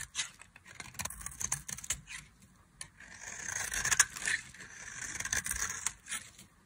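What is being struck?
Bar of soap scraped with a knife blade.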